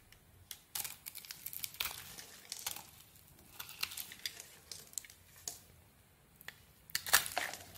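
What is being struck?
Soap bar scraped with a metal blade.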